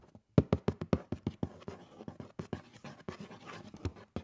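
Fingernails scratch along the lid edge of a hollow black cardboard shoe box lying on its side. The result is a quick run of short, dry, low scraping strokes that start sharper and louder, then settle into a softer, blurred rasp.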